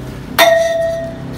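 A hammer strikes a solid iron pole taken from a pile of poles outside a house, struck to show it is real iron and not a prop. A single sharp metallic clang rings out with a clear tone around 660 Hz and bright overtones, decaying over about two-thirds of a second above a low background hum.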